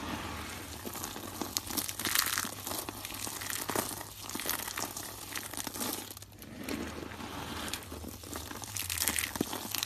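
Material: Soap.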